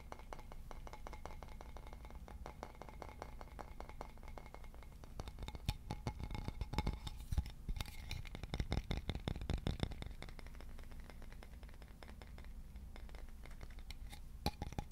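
Fingertips tap and scratch the grain of a solid, polished, leaf-shaped wooden board with a central hole, held in both hands. Rapid, dry little clicks and knocks patter continuously over a steady low hum, with no ring after each tap. The tapping grows busier and louder in the middle before settling back to a softer patter.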